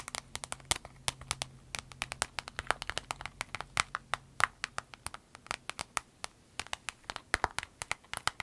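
Long red nails tap, scratch and squeeze a small, clear vinyl zip pouch with an avocado print. The result is a rapid, irregular patter of dozens of short, dry, bright clicks and crinkles, each dying away almost instantly. A faint low hum runs underneath for roughly the first five seconds.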